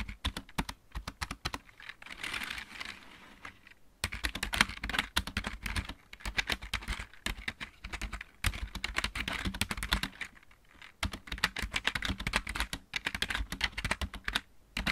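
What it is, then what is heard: Plastic mechanical keyboard. Both hands type on a full-size backlit plastic mechanical keyboard with fingertips and nails, producing rapid, bright clicking taps that ring only briefly. The typing runs in steady bursts with short pauses, and each keystroke is crisp with a faint low thump underneath.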